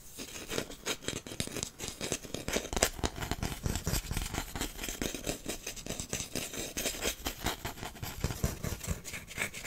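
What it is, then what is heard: Wooden incense holder. A long, flat, solid wooden incense holder with brass star inlays, held in one hand, is tapped rapidly with fingertips and nails. The result is a dense, steady stream of short, dry wooden clicks and knocks that lasts the whole clip, with no pauses or ringing between taps.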